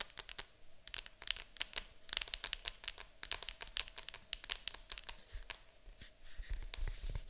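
Long acrylic nails scratch and tap across the lid of a large, hollow, printed cardboard board game box. A steady run of quick, dry clicks and bright scratchy rasps fills the clip, each tap dying away almost instantly with little low-end weight.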